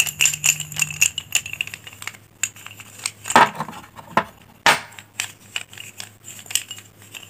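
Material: Chalk.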